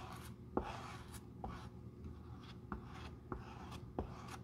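A stiff-bristle glue brush is rubbed across the light tan leather outsole of a Jil Sander shoe, held solid in the hand, spreading glue over the surface. The soft, dry, scratchy brushing continues steadily and is mostly low and muffled, with five short, sharper taps or strokes standing out and a faint steady low tone underneath.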